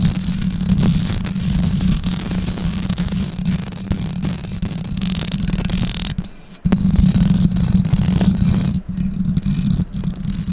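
Long pink acrylic nails scratch and tap the bare, hollow metal mesh grille of a condenser microphone that is fixed in place. The result is dense, close-contact handling noise: rapid scraping and tapping over a heavy low rumble, with a brief near-silent break around six and a half seconds before the scratching resumes.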